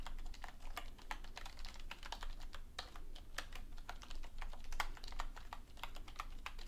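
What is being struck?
Plastic computer keyboard.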